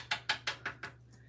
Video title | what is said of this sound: Saturday Live Kitchen Fun | these are nice and crunchy um you can hear tapping on them they're nice and crunchy